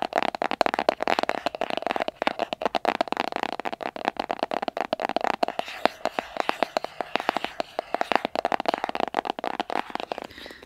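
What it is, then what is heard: Cardboard box. Fingernails tap and scratch the surface of a small, hollow white cardboard box held in both hands. Rapid, dry taps with a hollow, boxy resonance around 680 Hz are mixed with softer, papery scratching and bright, crisp edges. Each tap dies away almost instantly, with no low end.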